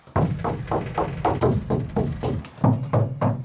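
Knuckles knock in a quick, slightly uneven series on the steel body panels of a Ford Transit van after butyl sound-deadening tape has been applied. Each knock is a dull, low thud with a short, quickly fading ring. The tape has dampened the panels' drum-like echo.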